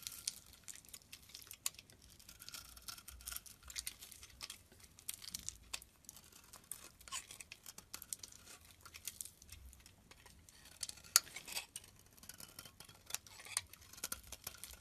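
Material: Soap.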